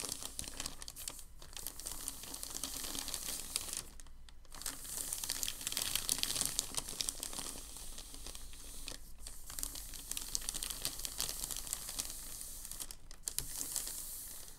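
A crinkled sheet of thin packing paper lying on a table is pressed and smoothed by hands. This produces a dense, continuous, bright crinkling and rustling, interrupted by a few brief quieter pauses near 1, 4, 9 and 13 seconds, with a faint low steady hum underneath.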